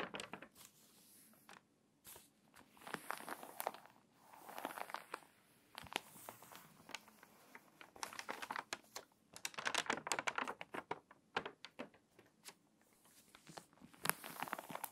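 An open, thin, crinkly glossy paper magazine lies on a table while long nails rub and scratch across its pages, and a page is turned. Soft, dry crinkling and scratching comes in bursts with many sharp ticks and a bright papery hiss. There is almost no low end.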